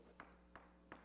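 A floor is tapped three times to demonstrate an ordinary struck sound. Each tap is a short, dull knock with a brief midrange ring, heard over a low, steady hum.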